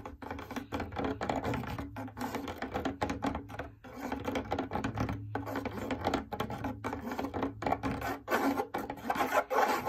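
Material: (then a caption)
Fabric. A large, hollow, lit cylindrical fabric drum lampshade is scratched and tapped with long nails. Quick, dry rasping strokes mix with light taps in a steady run. Under it sits a low, even hum.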